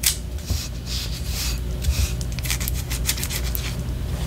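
A white solid wax pillar candle, held horizontally, is scratched with long orange nails. Bright, dry scratching strokes come in quick bursts over a steady low hum.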